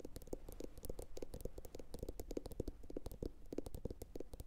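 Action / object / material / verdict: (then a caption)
tap / upturned glazed ceramic bowl / ceramic / none. A medium, hollow, empty blue glossy bowl, likely ceramic, sits upside down and is tapped with long pointed acrylic nails from both hands. The result is a rapid, continuous patter of quick, dry clicks with a low body and a short hollow tone that dies away almost instantly.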